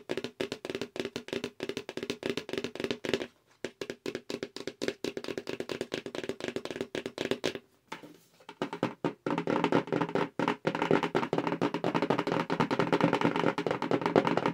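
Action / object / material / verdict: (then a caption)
tap / cardboard mailer box / cardboard / none. Long acrylic nails tap fast on a hollow, medium-size black BoxyCharm cardboard mailer box held near the face. The taps come as quick, uneven, dry clicks with a papery knock and almost no ring, broken by brief pauses around 3 and 8 seconds. From about 9 seconds on, the tapping grows denser and louder.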